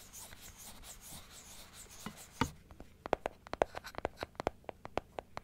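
Long nails scratch the inside surface and teeth of a large plastic dental teeth model held open. A soft, steady scratching hiss comes first, then gives way to a quick series of sharp, dry plastic clicks with almost no ring.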